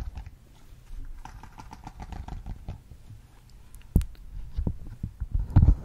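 A large, thin, flexible rainbow silicone pop-it fidget board with hollow bubbles is held close to the mic, and its bubbles are pressed and popped while the surface is tapped with fingertips and nails. The sound is a steady run of soft, low, muffled pops and taps, with a short series of faint brighter ticks early on. A sharp, louder pop lands near four seconds, and a heavier burst of pops comes at the end.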